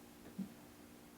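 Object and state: Nothing is struck.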